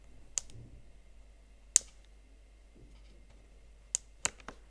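Fingertips and nails press and tap the chiclet plastic keys of a slim Huawei MateBook X Pro laptop keyboard, set in a blue metal body, in a typing motion. Four sharp, bright clicks stand out over a quiet, faint background, each dying away almost instantly, with a softer tick after the last.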